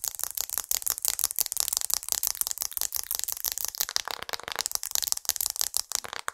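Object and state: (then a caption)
Glass and aluminium smartphone. Long multicolour acrylic nails tap rapidly on the surface and edges of a glass and aluminium smartphone held beside the microphone. The result is a dense, uneven stream of crisp, bright clicks that are almost entirely high-pitched, with no low end, and each click dies away instantly.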